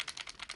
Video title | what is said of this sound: KWC Desert Eagle vs. WE Tech Desert Eagle! Hand Cannons! | It is going to rattle a little bit more with the slide.